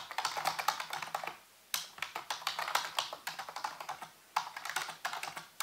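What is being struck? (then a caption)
Plastic computer keyboard. Fingertips type rapidly on a full-size black plastic keyboard with hollow keys, set on a white base. Quick, bright, hollow clicks come in three bursts separated by two short pauses, each tap fading almost instantly.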